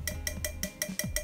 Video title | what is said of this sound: HARRY POTTER artículos mágicos de Novelmex ★ juegos juguetes y coleccionables ★ | escuchen ese hermoso sonido metálico